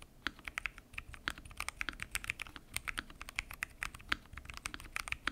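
Fingertips type continuously on a full-size mechanical keyboard with lubed switches, pink and mint PBT keycaps, and a transparent acrylic case. The result is a steady stream of short, crisp clacks with a bright, high edge, centered around 1.6 kHz, with very little low end. Each keystroke dies away almost instantly.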